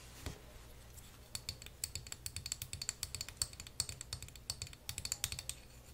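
A small, flat, solid printed wooden puzzle piece shaped like a lion is held up in the hands and scratched with short fingernails and fingertips. Quick, dry, bright clicking taps and scratches come in uneven bursts over a faint low hum, with a steady high ring through the taps.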